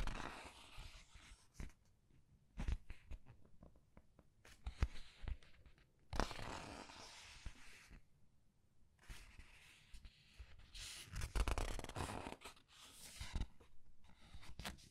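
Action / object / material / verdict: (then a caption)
scrape / glossy paper pages of a large book / paper / none. Glossy paper pages of a large art book are flipped and rubbed with fingertips and long red nails. Soft, broad rustling swishes and crinkly page sweeps alternate with short sharp taps and scratches, over a low, muffled rumble between the quiet gaps.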